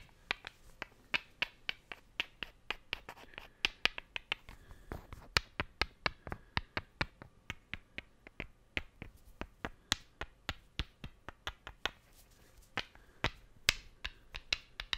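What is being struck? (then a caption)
Two small wooden cubes. Two solid, light wooden cubes held side by side are tapped together in a quick, uneven rhythm, producing about 47 sharp, dry clicks over fifteen seconds. Each tap is bright and brittle, dying away almost instantly with no ring, against a quiet background.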